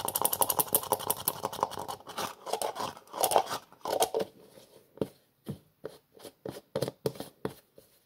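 Fingers twist and tap the black plastic screw lid of a small cream-colored plastic jar. For the first two seconds, a dense, rapid run of dry, scratchy clicks comes from the twisting lid, followed by a few rougher scraping bursts. Then come a series of short, sharp, separate taps with quiet gaps between them.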